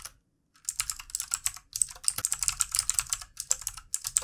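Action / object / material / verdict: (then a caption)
tap / plastic mechanical computer keyboard / plastic / none. Very fast two-handed fingertip typing on a full-size backlit plastic mechanical computer keyboard with plastic keycaps, after a brief silent moment. The result is a dense, bright, clicky rattle of sharp, dry keystrokes with almost no low end, broken by a short pause partway through.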